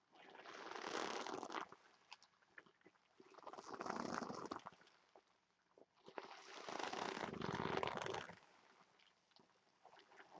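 Both hands squeeze a large, soft, stuffed red glossy vinyl (PVC) heart-shaped pillow and rub long nails across its surface to make it crinkle. Three loud bursts of dense, mid-range crinkling rise and fall, separated by quieter, sparse scratches and ticks. Between bursts the noise thins out before the next squeeze begins.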